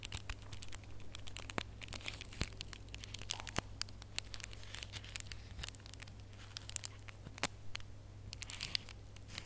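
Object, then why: Foil-wrapped gift box ornament. Bare fingertips and nails scratch and squeeze the surface of a small red holographic foil gift box ornament with a gold ribbon. The foil gives off a dense stream of quiet, bright crinkles, scratches and sharp crackling ticks over a steady low hum.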